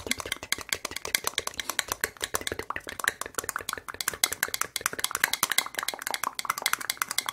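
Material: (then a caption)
Plastic. A single small, clear, ribbed plastic medicine cup, hollow and empty, is held in both hands and rapidly tapped and scratched with long red acrylic nails close to the microphone. The result is a dense, fast stream of bright, dry plastic clicks and scratches with almost no low end, each tick dying away almost instantly.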